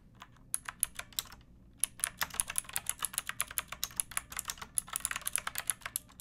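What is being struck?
Plastic mechanical keyboard.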